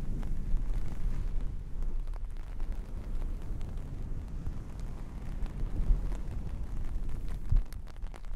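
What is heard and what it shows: A hand with long painted nails scratches and combs through red and black long-pile faux fur fabric, making a steady, dense, low rumbling rustle. Faint brief crackles flicker above it, with the loudness staying fairly even and swelling slightly near the end.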